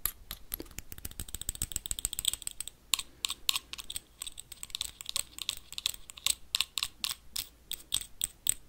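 Metal paperclips tap quickly on an empty small clear glass jar with a black lid. The result is a dense run of sharp, bright clicks with almost no ring, coming in rapid bursts.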